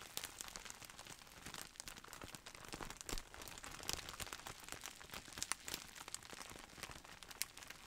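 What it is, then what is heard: Plastic bubble wrap. A clear plastic bubble wrap roll in a printed sleeve, with air-filled bubbles, is squeezed and crinkled with fingers and held close at the end. The result is a steady, quiet, bright crinkling over the full clip, with many sharp little crackles and snaps rising above it and very little low end.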